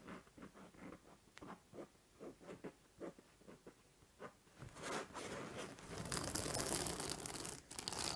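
Long nails scratch the fabric face of a purple, soft-filled INTEY-print acupressure pillow, making a series of short, separate rasping strokes. Around the 4.5-second mark they move to the spiked edge, and the sound becomes a louder, continuous, bright crunchy scratching.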